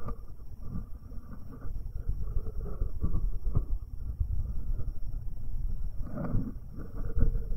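A fingertip in a rubber finger cot rubs the right metal capsule of a binaural microphone, producing close, muffled low rumbling and scratchy friction with soft thumps throughout. A faint, steady high whine sits underneath the rubbing.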